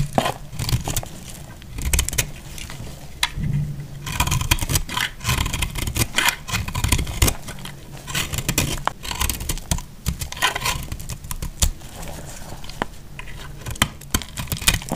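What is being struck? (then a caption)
Bar of soap. A hand-held solid bar of dried lilac marbled soap is cut with a box-cutter blade, shaving off crisp flakes. Many dry, crackling scrapes and sharp snaps follow one another in close succession, with bright crisp edges over a low rumbling body.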